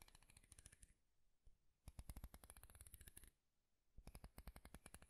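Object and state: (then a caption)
Wooden comb. Fingertips and nails strum the teeth of a light wooden comb with a handle close to the mic. Three bursts of rapid, dry clicking sound, each a quick run of short, bright ticks with a soft low thump, separated by brief quiet pauses.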